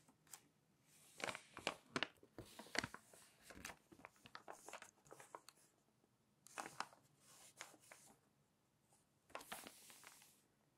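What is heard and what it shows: A glossy paper magazine page is pinched and turned, then smoothed down with a flat hand and fingertips. Bursts of crisp, bright crinkling and rustling come in several clusters, with short dry snaps and quiet pauses between them.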